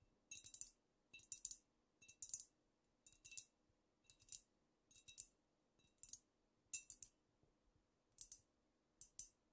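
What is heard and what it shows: Long nails tap a squat, apparently filled amber glass cognac bottle and tap and scratch near its glass top. Quiet, bright clicky bursts come in short clusters with a faint high ring, dying away almost at once and leaving nearly no low end.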